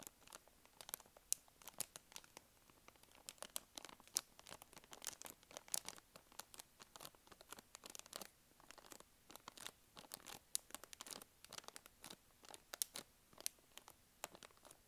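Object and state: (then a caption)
Soft plastic wet wipes packet. A small blue and white soft plastic packet, apparently of wet wipes and full of wipes, is held in both hands and crinkled, squeezed and scratched with long acrylic nails. The result is a quiet, steady stream of dense, bright crinkles and crackles, punctuated by sharp, dry ticks that stop instantly, with almost no low end.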